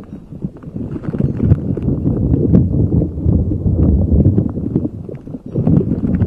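A neon green soft rubber spiky puffer ball is rubbed and squeezed with fingers over a microphone. It gives a dense, muffled low rustling and thumping with quick soft taps and faint crackles throughout, briefly quieting before picking up again near the end.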